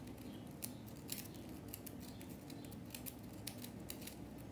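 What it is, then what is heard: Compressed powder bath bomb. Long natural nail tips, on hands covered in powder, scratch and flick at a small remaining chunk of solid compressed-powder bath bomb. Quiet, dry, crisp scratching clicks with bright, brief ticks sit over a steady low murmur.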